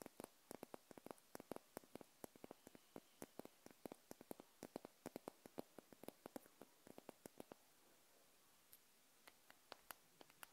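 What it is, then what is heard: Glass candle jar. Long nails tap and scratch near the neck of a small wax-filled glass jar candle held sideways, producing rapid, sharp, dry clicks with almost no ring over a quiet hiss. The taps come in a dense stream, then thin out to sparse single clicks near the end.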